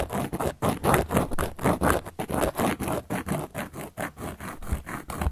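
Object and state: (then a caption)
Cork coaster. A hand with long yellow nails scratches and traces a teal-handled carving tool across a round, flat, solid cork coaster lying on a black surface. About twenty short, dry scraping strokes follow one another at roughly two per second in an uneven rhythm. Each stroke has a soft, low-mid rasp that swells and fades quickly.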